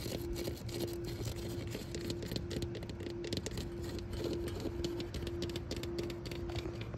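Long acrylic nails tap and scratch the textured orange vinyl-coated fabric shell and white woven strap of a large orange commercial foam-core ring life buoy mounted on a white fence. Rapid soft, dull taps mix with brief scratchy scrapes over a steady low rumble and a faint constant hum. The sound stays at an even, quiet level throughout.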